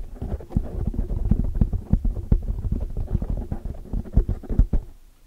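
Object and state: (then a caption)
Foam microphone windscreen. Long, dark-polished nails scratch and tap all around a large, soft, porous black foam windscreen over a hollow microphone head, using both hands. The result is a dense, muffled stream of deep thumps and rumbling scratches, almost entirely low in pitch with no bright edge. The rapid taps die out quickly and thin toward the end.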